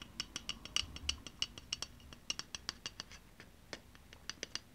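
A pink aluminium Ushuaia spray deodorant can, hollow and pressurized, is held in the hand and tapped and scratched with long painted nails. About 26 quick, quiet, bright clicks come in an uneven rhythm, each with a short metallic ping near 2.9 kHz that dies away almost at once. A faint scratchy rustle runs between the taps.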